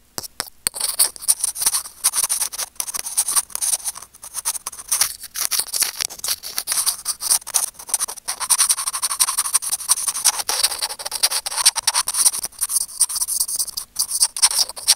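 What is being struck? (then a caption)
Plastic earphone mic remote. Curved steel tweezers scratch and scrape across a small, hollow white plastic earphone mic remote. The result is a dense, continuous stream of bright, crackly scratching and tiny clicks, almost entirely high-pitched with no low end, keeping up without pause for the full fifteen seconds.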